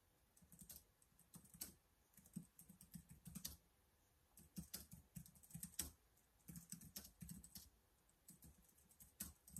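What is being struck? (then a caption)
Plastic laptop keyboard. Fingertips type continuously on the keys of a black plastic laptop keyboard, making quiet bursts of soft clicking with dull low thuds and bright ticks. The typing runs in quick flurries separated by short pauses, and each keystroke dies away almost instantly.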